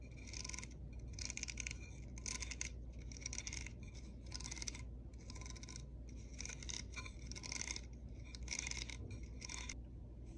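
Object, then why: Plastic hair brush with plastic bristles. Long nails and fingertips flick and scratch across the dense magenta plastic bristles of a small pink-and-white plastic hair brush with a hollow shell, held in the palm. Quiet bursts of bright, crackly scratching repeat through the clip, separated by short pauses. A steady low hum sits underneath.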